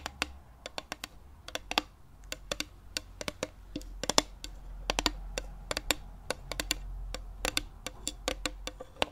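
Long dark nails tap and scratch the lid and sides of a small, closed, round metal tin of thinking putty with a printed red "Intelligente Knete" label. The result is a quick, irregular series of sharp, bright clicks that die away almost instantly, with a faint scratchy rasp and a low steady hum underneath.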